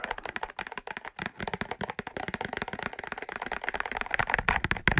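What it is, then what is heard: Cardboard matchbox, hollow. A large, closed, hollow cardboard matchbox with a red-orange label is tapped and scratched with fingertips and short nails. Rapid, dry tapping clicks mix with scratchy rustling, each tap dying away almost instantly. The tapping grows slightly louder and brighter toward the end.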